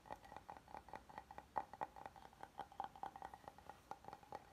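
A flat, oval, solid wooden serving board is held tilted while fingertips tap and nails scratch across its face. A quiet, steady run of quick, dry taps carries a woody knock pitched around 850 Hz, each dying away almost instantly, with faint scratching between them.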